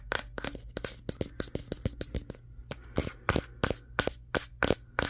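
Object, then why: Smartphone with glass back. A Samsung Galaxy S23 with a matte glass back is held in both hands and tapped with fingertips and nails on the back near the camera lenses. About 23 sharp, dry clicks and taps land in an uneven rhythm, each bright and very short, over a faint steady low hum.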